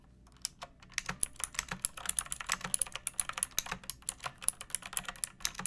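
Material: Plastic.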